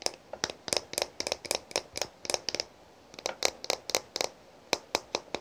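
Long pink nails tap on the thick glass body and clear glass cap of a small faceted glass perfume bottle filled with pinkish liquid, making about twenty quick, bright clicking taps. Each tap is dry and short with almost no ring and very little low end, and a brief pause interrupts the run partway through.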